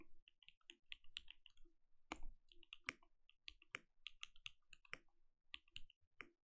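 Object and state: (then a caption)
Mechanical keyboard with plastic keycaps. Fingertips on both hands type on a compact mechanical keyboard with plastic keycaps and a translucent lit case. A quick, uneven run of short, crisp clacks, each with a bright click over a soft low thud, cuts off almost instantly with no ring. A few louder, fuller strokes stand out among the lighter taps.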